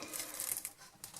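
Homemade dog kibble made with beans, carrots and beef, baked at 80 degrees for about 25 to 30 minutes, is handled and knocked together. Quick, dry, bright clicks rattle with almost no ring, marking the pieces as hard and baked through.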